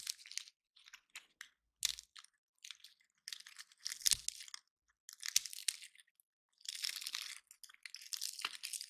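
Fingers and nails scratch and snap the scales of a single dry, solid, woody, hand-sized pine cone painted gold, held in both hands while other cones sit untouched nearby. Short bursts of dry, bright crunching and crackling come and go with silent gaps between them. The sound is quiet and almost entirely high-pitched, with no low end.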